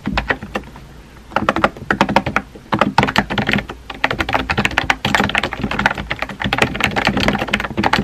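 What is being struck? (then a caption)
Plastic computer keyboard. Fingertips type on a compact pink plastic keyboard with round white keycaps, producing rapid, light plastic clicks and clacks. The taps come in quick bursts with brief pauses, each one short and dry with a bright edge, over a faint low steady hum.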